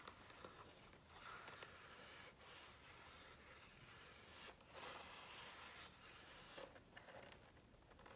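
Fingertips tap and rub across the glossy paper pages of an open hardcover book, held on the same spread with the hands resting at its edges. A quiet, steady, bright scratchy rustle runs throughout, broken by soft, light taps on the page surface.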